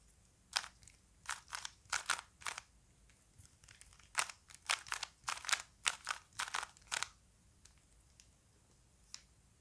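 A small plastic puzzle cube with colored faces is held in both hands while the fingertips quickly turn its layers. The result is a quiet series of short, dry bursts of dense plastic clicking and grinding, bright and crisp with almost no low end and no ring-out. A few softer isolated clicks are heard between the bursts and toward the end.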